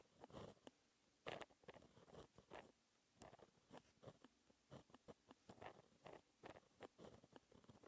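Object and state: Pen writing on paper.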